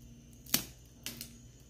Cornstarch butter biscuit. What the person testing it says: Ele fica bem crocante, ó. Bem assadinho